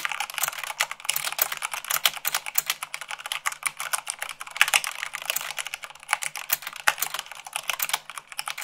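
Rapid typing with fingertips and long nails on a white plastic mechanical keyboard, at about 98 words per minute. Fast, dense, bright clacking keystrokes with a sharp tick and almost no low end, each dying away almost instantly.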